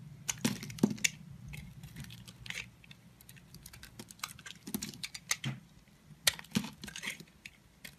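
A metal utility blade carves and cuts chunks off a solid light-blue soap bar held in the hand, piling up blue soap shavings. Quick, crisp, bright scraping clicks and snaps come in uneven bursts over a faint low hum, each cut ending almost instantly with no ring.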